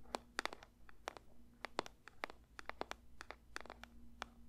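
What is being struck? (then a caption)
Paper box. A paper box is lightly tapped with the fingers for ASMR, giving about 21 short, dry, crisp taps in an uneven rhythm. Each tap is a quick bright click with almost no ring, over a quiet, steady low hum.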